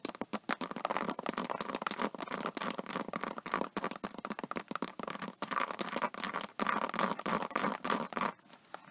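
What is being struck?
Embossed vinyl tablet case scratched with fingernails.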